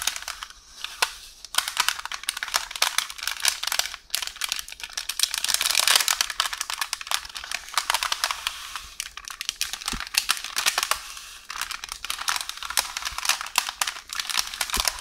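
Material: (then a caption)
Paper. Long orange nails scratch and tap along the length of a beige parchment baking paper roll, a hollow tube resting on a counter, crinkling its surface. The result is a dense, bright, continuous stream of crackly rustling and quick dry taps, almost entirely high-pitched with very little low end, swelling and easing in loudness throughout.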